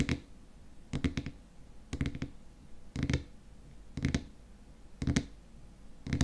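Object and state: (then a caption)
Glass cream jar with plastic lid. Fingernails tap rapidly on the frosted white plastic lid of a small glass cream jar filled with cream. Seven quick bursts of two or three dry clicks each come about once a second. The clicks are short and muffled, with a low, dull body and almost no ring.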